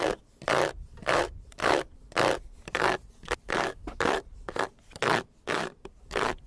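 Fingertips and nails scratch and rub the large, dark grey plastic front grille of a white Jeep, a fixed, hollow grille with vertical slots and a honeycomb mesh. A steady rhythm of short, dry, rasping strokes sounds like a zipper, each a bright scraping hiss. Brief quiet gaps fall between the strokes.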